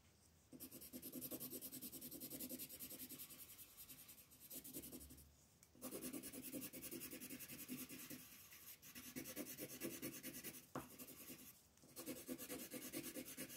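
A yellow wooden colored pencil is rubbed in shading strokes over a flat sheet of white paper with a floral print, lying on a table. Quick back-and-forth strokes make a steady, dry scratching rasp, with a bright papery hiss over a grainy lower tone. The shading runs in long stretches broken by a few brief pauses.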